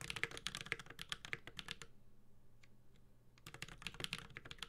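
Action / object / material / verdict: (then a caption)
tap / mechanical keyboard with aluminum case and plastic keycaps / aluminum, plastic / none. A 65% mechanical keyboard with an aluminum case and plastic keycaps is typed with the fingertips of both hands. Rapid, bright, clicky key taps run steadily for about two seconds, pause into near silence with a couple of isolated taps, then resume at the end.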